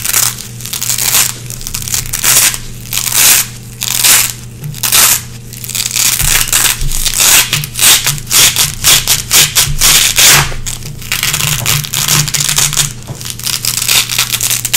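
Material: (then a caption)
Nylon. Long red-painted nails scratch and pick through a small gray nylon velcro hook strip held in the fingers. The result is a dense, bright, crackling rasp in repeated short strokes, with a faint steady low hum underneath.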